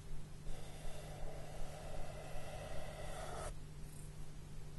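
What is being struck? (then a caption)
Cardboard sheet. Fingertips with short, nude-polished nails stroke and rub across a large, flat brown cardboard surface. A soft, breathy rubbing swell builds after the first half-second, holds, and then cuts off abruptly around three and a half seconds. A low, steady hum runs underneath the whole time.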